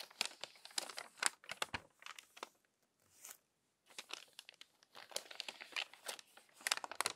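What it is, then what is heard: Crumpled paper magazine. Pages of a crumpled paper magazine are turned quickly by hand, making a crinkly, papery flutter of rapid, bright crackles with no low end. The crinkling comes in dense bursts, goes nearly silent for about a second around the middle, then picks back up in quick rustling flicks to the end.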